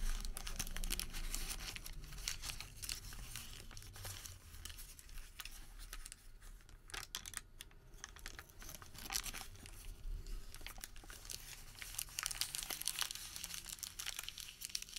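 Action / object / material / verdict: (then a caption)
scrape / thin thermal paper receipt / paper / none. Bare fingertips crumple a small, thin, blank white thermal paper receipt into a ball, then unfold and stretch it. The sound is a dense, crackling crinkle with bright, sharp snaps over a low rustle. It thins out briefly in the middle before the crackle builds again.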